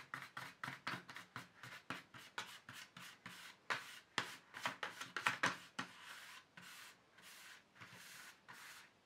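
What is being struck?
Plastic paint tube tray.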